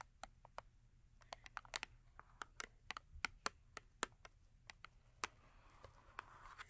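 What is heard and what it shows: Long acrylic nails tap the top edge of a small cardboard Yardley soap box, full with a bar of soap and resting on a fur mat. About 21 quick, dry, bright clicks land at an uneven, quiet pace, each dying almost instantly, with a tonal center near 1.3 kHz. Toward the end, a soft, steady rustle rises beneath the taps.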